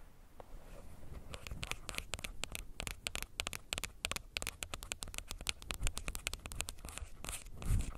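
Fingernails tap rapidly on a plastic earbuds case, producing a dense run of short, dry clicks with bright edges over a low, soft rumble. The taps come in quick irregular bursts and end with a slightly louder knock.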